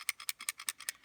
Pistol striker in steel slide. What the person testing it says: shake it. You'll hear the rattling. That's what you want to hear.